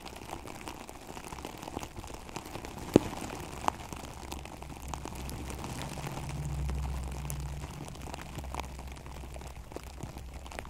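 Long acrylic nails scratch quickly across a synthetic plastic turf cover over a microphone, with both hands gripping the cover. The result is a dense, crackly, low-heavy rustle with two sharp clicks near the three-second mark. A low droning swell rises around the middle before settling back.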